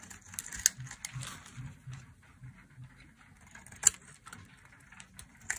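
A solid, ridged red bar of dry soap, held in a hand with long nails, is shaved into flakes with a metal blade. Dry, bright scraping and crisp crumbling fill the clip, broken by a few sharp, short clicks as the blade catches the soap.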